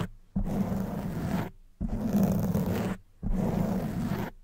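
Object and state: Foam microphone windscreen being scratched.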